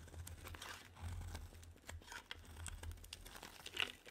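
A solid pink bar soap held in hand is shaved into curls with a metal utility knife blade, giving a dry, crisp scraping and crinkling with a steady low hum underneath. The short bright scrapes run continuously at a quiet level, with a sharper, louder cut near the end.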